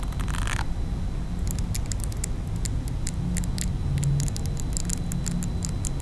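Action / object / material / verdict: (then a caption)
scrape / silicone facial cleansing brush / silicone / none. A small round pink silicone face-cleansing brush is held in one hand while long nails of the other hand scratch over its textured silicone bristles. Quick, bright scratchy ticks and brief rasps are heard over a steady low rumble, with an early burst of rough scraping.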